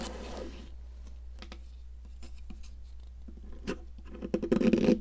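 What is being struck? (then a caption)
Solid sidewalk chalk stick. A metal palette knife scrapes and carves a solid pink popsicle-shaped sidewalk chalk, scattering crumbs. Quiet, scattered dry scratches and clicks give way to a denser, louder burst of gritty crumbling scraping at the end.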